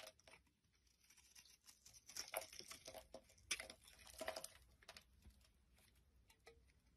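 A utility knife blade shaves flakes off the surface of a solid light-green rectangular soap bar held in the palm. Soft, irregular scraping and crisp carving strokes come in bursts, some bright and sharp. Quiet gaps fall between the strokes.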